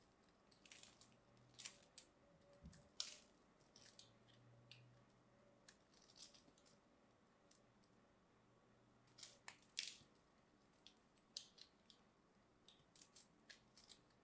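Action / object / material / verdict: scrape / bar of soap / soap / none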